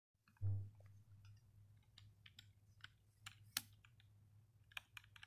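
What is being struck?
Plastic computer keyboard.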